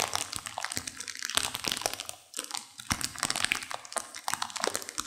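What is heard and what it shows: A sealed plastic instant-noodle packet with dry noodles inside is squeezed and crinkled by hands and long nails, crunching the noodles. Dense, bright crinkling and sharp snapping crackles run throughout, with a brief quiet dip just after two seconds before the crunching resumes.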